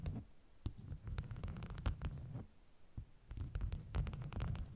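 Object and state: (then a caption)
Stack of beeswax food wraps. Long nails scratch and tap the top of a stack of bee-print beeswax food wraps, and fingers rub across it. Soft, low rustling and rumbling carry the sound, broken by short, bright clicks and crackles.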